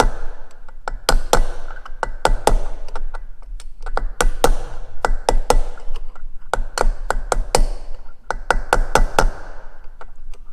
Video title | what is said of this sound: How to Replace a Wheel Bearing Race & Cone on a Beechcraft Bonanza - Final Steps of the Annual Insp | You'll hear it get to a dull thud when it makes it all the way to the bottom.